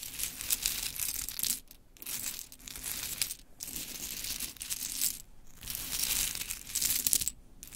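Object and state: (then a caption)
Pile of small wooden clothespins. Long chrome nails scratch, tap and rake through a pile of small pink wooden clothespins, making dense, bright clicking and clattering in bursts. The sound comes in several busy stretches broken by short, near-silent pauses, with little low end.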